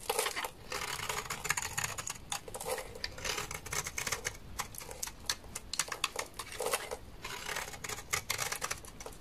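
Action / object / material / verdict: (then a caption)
scrape / laundry soap bar scraped with a knife blade / soap / none. A utility knife blade scrapes a large, solid, dry beige laundry soap bar with a stamped logo, held in the hand, shaving it into flakes. Rapid, bright, crackly scraping strokes come in dense bursts with brief pauses, each stroke dry and short with almost no ring.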